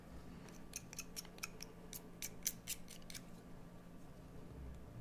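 A metal blade carves a solid green bar of soap, making a quick series of short, crisp scraping cuts with a bright, crackly edge over a low, steady background hum. The cuts cluster in the first three seconds and then thin out to faint scrapes.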